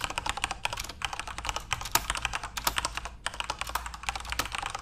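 Both hands tap rapidly with their fingertips on a full-size Corsair RGB-backlit mechanical keyboard with plastic keycaps. A dense, fast run of bright, crisp clacks dies away almost instantly, a few keystrokes landing louder than the rest, over a faint low hum.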